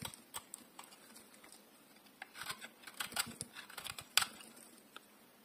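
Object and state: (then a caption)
Bar of soap being carved. A solid oval bar of dry green soap, held in one hand, is shaved and carved with a metal utility blade. Quiet, bright, crisp scraping and crackling bursts come in irregular strokes, growing busier in the middle with a sharper snap near the end. Each stroke dies away almost at once.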